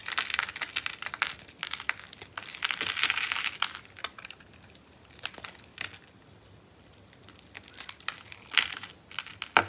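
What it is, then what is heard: Dry bar soap, crunchy when carved. A solid, hand-sized pink bar of dry soap is carved while held in the hand, with carved soap chips piled in the palm. Dense, bright, dry crunching and crackling comes in quick bursts, eases to a quieter stretch midway, then returns with sharper crunches toward the end.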